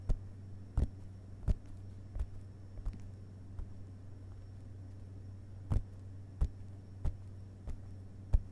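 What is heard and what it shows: Fingerpads of both hands gently tap the paper pages of an open hardcover book lying on a carpet. Soft, dull, very short taps with almost no ring land at uneven intervals, with a pause in the middle, over a steady low hum.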